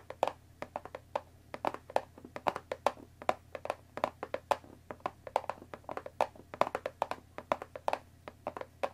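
Long dark nails of both hands tap rapidly on the top of a closed Earl Grey tea box made of thin printed cardboard, about 20 cm long and likely full of tea bags, resting on a wooden table. The result is a quick, uneven patter of short, dry, hollow taps that die away instantly, centered in the midrange with crisp high clicks, over a faint steady low hum.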